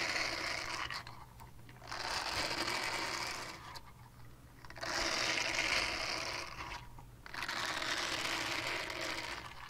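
Long dark nails scratch a small purple-pink silicone cleansing pad in four bursts of rapid, bright, rasping scratches. Each burst is separated by a brief quieter pause.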